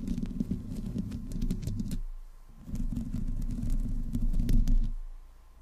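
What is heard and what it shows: Long fingernails on both hands scratch the metal grille and body sides of a black desktop microphone. Heard close up, it makes dense, low, rumbling scratching with faint bright ticks, in two bursts separated by a brief quiet gap, and then it fades out.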